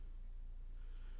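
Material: Nothing is struck.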